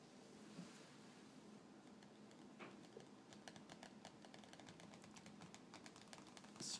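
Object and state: Glossy paper magazine.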